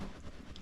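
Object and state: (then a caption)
Packed shipping box, contents secure. A cardboard shipping box holding miniatures packed in packing peanuts, with extra cardboard support added across the middle, is shaken as a shake test. A brief, quiet, low, dull shuffle is heard with no rattling. Nothing inside moves, so the contents are secure and the box is ready to ship.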